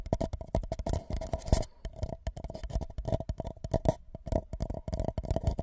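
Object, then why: Empty paper cup over a microphone. A tall, empty white paper cup placed upside down over the microphone is tapped and scratched on its sides with the fingertips and nails of both hands. A rapid, uneven run of dull, deep thumps rings briefly with a hollow tone around 650 Hz as the cup resonates. Soft, bright scratching rustles between the taps.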